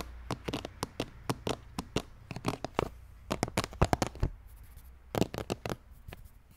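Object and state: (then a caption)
Plastic skull bucket with brain-shaped lid. Fingertips and nails scratch and rub across the textured green plastic brain lid of a large hollow red plastic skull container. About 25 short, dry scratching clicks come in quick clusters with brief pauses between them, over a faint low hum. Each sound stops almost instantly with no ring.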